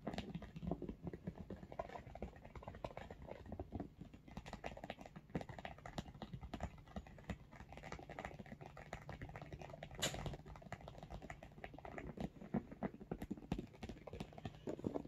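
Fingertips and short nails tap quickly along the top edge of a large, hollow, pink embossed textured faux leather/fabric makeup bag. The result is a dense, steady patter of soft, dull, low-weighted taps with very short decay, plus occasional crisper clicks, including a sharper one around the ten-second mark. A faint low hum runs underneath.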